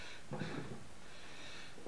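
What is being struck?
Nothing is struck.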